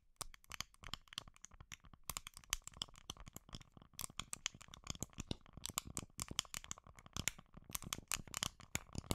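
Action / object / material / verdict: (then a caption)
tap / small plastic supplement bottle / plastic / none. A small, hollow white plastic supplement bottle is held in the hand near the mic while long nails tap and scratch its sides and lid. The result is a dense run of quick, dry, bright clicks and scratchy rasps with almost no ring, mixed with a light crinkling texture.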